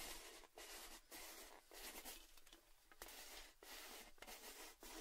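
A tall, hollow, red printed metal Baileys gift tin is held close while fingers tap and scratch along its side and rim. Quiet, bright, hissy scratching runs throughout, broken by brief dips and a few soft taps that ring faintly.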